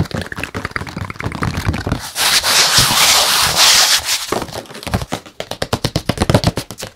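A small square stretched canvas, acrylic-painted with a colorful Buddha face on a wooden frame and hollow behind, is held up in one hand and rubbed and scratched across its painted surface with the fingertips. Quick, dry scratching strokes give way to a sustained bright rubbing hiss in the middle, then return as a rapid run of crisp, papery scratches at about four per second.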